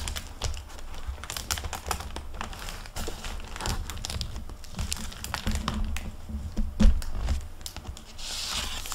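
Hands flip through the paper pages of a hardcover library book with a plastic-covered paper dust jacket, then close the cover. Dense page rustling and crisp, bright crinkles of the plastic jacket sound over a low rumble, with a louder cluster near the end as the cover shuts.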